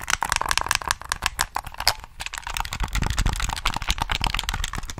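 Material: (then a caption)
Plastic. A hollow black plastic PS3 game controller is held in both hands close to the mic while fingertips tap and click its buttons and body. The result is a rapid, uneven stream of dry, sharp plastic clicks and taps that stop almost instantly, bright on top with a soft low thump underneath.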